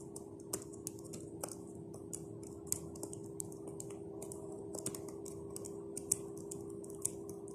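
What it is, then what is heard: Plastic laptop keyboard. Fingertips and long nails repeatedly tap and press black plastic laptop keys, with the microphone resting on the keyboard. Quiet, crisp, bright clicks with almost no ring sit over a steady low hum, with a few sharper taps standing out.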